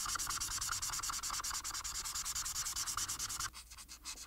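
A felt marker held in the fingers colors a flat paper coloring sheet blue on a table, making rapid, steady back-and-forth rubbing and scratching strokes with a bright, hissy texture. Near the end, the strokes become quieter and more spaced out.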